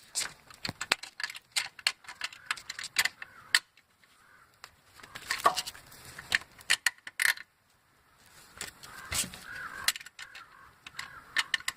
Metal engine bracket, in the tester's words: engine tapping knocking rattling ticking sound